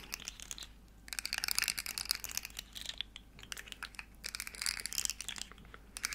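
A small, hollow, rainbow plastic articulated slug fidget toy is flexed and clicked in the hands while long nails scratch its segments. The result is dense bursts of bright, crackling plastic clicks and scratches, with short pauses between them.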